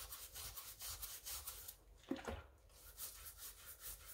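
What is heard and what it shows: A rubber-gloved hand scrubs the wet white rubber and foam sole of a pink mesh sneaker over a basin with a wooden-handled scrub brush. Rhythmic, bright, bristly rubbing strokes carry a wet hiss. Midway the strokes pause for a brief squeak and knock, then the steady scrubbing resumes.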